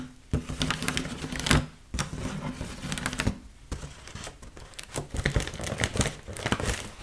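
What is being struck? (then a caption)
Inflated mylar foil balloon. Long nails tap and scratch an inflated, hollow red mylar foil heart balloon held in both hands. Quick, dry clicking taps mix with crinkly, bright scratching on the foil, and a low hollow body resonance sits underneath. The sound comes in dense bursts with brief quieter gaps between them.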